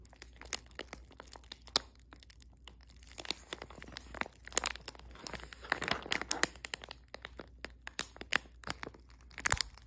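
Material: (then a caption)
Foil plastic. A small, sealed, printed foil and plastic Squishmallows Mystery Squad blind bag with a toy inside is held in the hand and crinkled and rubbed with fingertips and long nails. Dense, bright crinkling and rustling is punctuated by sharp crackles and crunches that stop instantly. The crackles cluster more densely near the middle and end.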